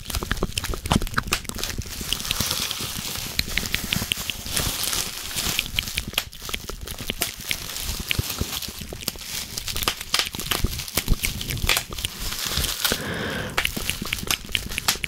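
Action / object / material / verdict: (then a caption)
scrape / plastic bubble wrap sheet / plastic / none. A clear plastic bubble wrap sheet with air cells is scratched and squeezed up close with long painted nails and fingertips. It makes a steady, dense crinkling and crackling with many sharp, bright clicks and taps. The brief snaps stand out over a continuous rustle for the whole clip.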